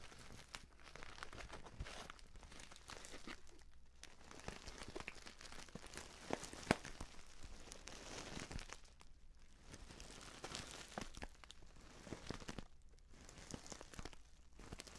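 A filled, orange-printed stand-up paper tea pouch is held close and squeezed and crinkled with the fingers. The result is a steady, quiet run of dense crackling and crunching, broken by brief pauses and sharper snaps, with a faint low rumble underneath.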